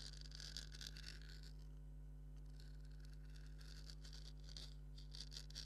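Fingernails scratch along the stitching and surface of a hollow, black stitched leather maraca head. Soft, bright, papery scratching comes in uneven bursts over a steady low hum, all at a very quiet level.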